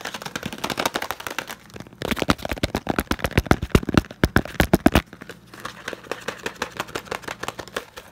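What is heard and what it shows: A closed, hand-sized green and yellow Knorr cardboard bouillon cube box is tapped rapidly with the fingertips. The dry, hollow taps stop almost instantly, starting light, building into a louder, quicker burst in the middle, then easing back to softer tapping.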